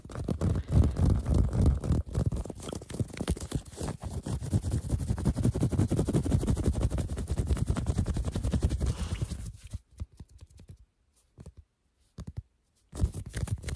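Long painted nails scratch quickly over a worn cream cotton fleece sweatshirt and its raised embroidered letters. The result is a dense, rapid, muffled scratching that sits mostly in the low end for about nine and a half seconds. It then drops to a few brief scrapes separated by silence, before the scratching resumes near the end.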